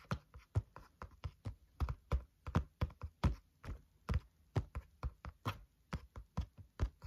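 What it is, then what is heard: Spiral notebook cover tapped with fingertips. Fingertips tap on the cover of a flat, green-covered spiral notebook lying on a table, making 28 short, dull thuds in a loose, uneven rhythm. Each tap is soft and low with a faint papery click on top, and dies away almost at once.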